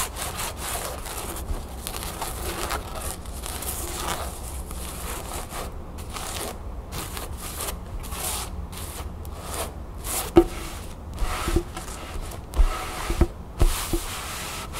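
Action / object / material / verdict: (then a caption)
scrape / canvas fabric pillow / canvas / none. Long nails scratch and rub across the fabric of a cream canvas pillow or cushion printed with a blue crown, lying flat on a table, making a steady, low, scratchy rubbing. In the last few seconds, sharper, brief taps and scrapes stand out above the rubbing.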